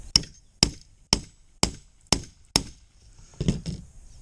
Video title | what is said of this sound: Working With1/2 Inch Grommets From Harbor Freight ND16 on GoPro Sessions DaVinci Resolve Studio18 4x | give this a few taps until you hear it change tone and it gets solid